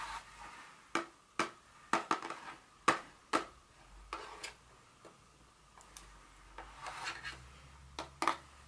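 Long nails tap and scratch the sides and top of a small, hollow, blue cube-shaped printed paperboard Dior fragrance box with a white bird design, standing on a stone surface. A string of sharp, hollow taps with a papery ring around 1.1 kHz decays quickly, mixed with bright, softer scratching in between.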